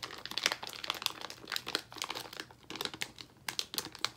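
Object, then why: Plastic candy bag. A yellow Haribo Fruit Salad plastic bag full of gummies is squeezed and crinkled with the fingers of both hands. It gives bright, crackly crinkling in quick, uneven bursts with short pauses between them. The sound is mostly high-pitched, with almost no low end.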